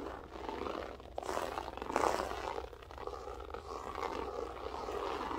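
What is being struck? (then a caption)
Loop-pile berber carpet. Long nails scratch and flick across a grey loop-pile berber carpet, making a continuous rough, rasping scrape that swells and fades in waves. The scratching peaks around the two-second mark over a faint, steady low hum.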